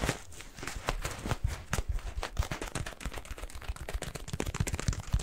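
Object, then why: Rubber balloon filled with granular cat litter. A yellow latex balloon filled with granular cat litter is squeezed and pinched with fingers. It gives a steady stream of soft, crunchy crackles and gritty rustling, with many quick, muffled low thumps as the granules shift inside the rubber.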